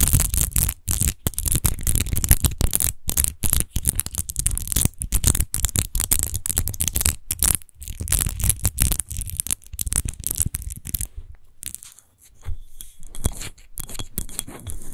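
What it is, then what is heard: Textured glass bottle being scratched. Long nails rapidly scratch and tap a large, hollow, clear glass rose-shaped wine bottle with a rose-textured base, apparently empty. The result is a dense stream of bright, scratchy rasps over low, dull thumps. The sound drops out briefly near the 12-second mark and then resumes a little softer.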